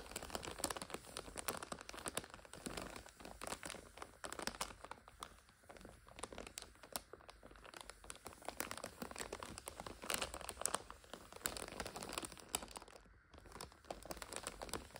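Long acrylic nails scratch and tap a full purple and red crinkly plastic multipack wrapper holding five instant noodle packets lying flat, while fingertips press and crinkle it. The result is dense, continuous crinkling and crackling with many quick, bright taps and scratches. The level rises and falls throughout but never stops.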